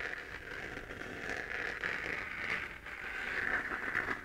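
Long painted nails scratch across the crater texture of a hollow 3D-printed plastic moon lamp glowing pink. The result is a steady, dense scratchy crackle with a bright, focused rasp centered around 1.7 kHz. It swells slightly louder toward the end, with little low-end weight.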